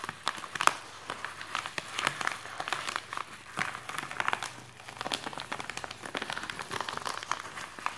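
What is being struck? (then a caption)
Polythene mailing bag. Fingertips tap and scratch quickly on a white polythene mailing bag with a forearm inside it. The result is a dense, continuous run of bright crinkling clicks and rustles with no low rumble, each tick stopping almost instantly.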